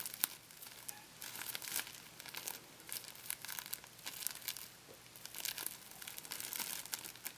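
A thin, flexible wad of clear plastic packing tape, a sticky, hollow sheet material, is held in both hands and stretched, crinkled and peeled apart by fingertips with painted nails. It makes quiet, bright crinkling and sticky tearing crackles in dense, rapid bursts with almost no low end. The sound rises and falls in uneven clusters throughout.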